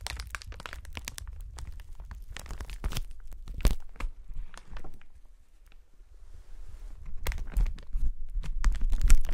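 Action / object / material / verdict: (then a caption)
scrape / polyethylene air cushion packaging strip / plastic film / none. A clear polyethylene strip of air-filled packaging cushions, held across the chest, is pressed and crinkled by gloved fingertips. Dense, irregular crinkling and sharp crackles mix with soft low thumps. The sound thins to a near-quiet rustle in the middle, then builds back to louder, busier crinkling at the end.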